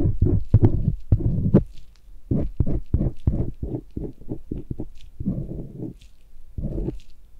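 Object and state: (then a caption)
Silicone ear scraped with a thin metal tool. A thin metal blade on a white handle, a "cloud knife," scrapes and strokes inside the folds of a life-size white silicone ear on a binaural microphone. The ear is held by one bare hand while a gloved hand works the blade. Close, low, muffled scratches and rubbing strokes come in irregular bursts, with a few faint bright ticks.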